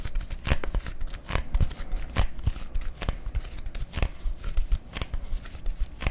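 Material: Plastic.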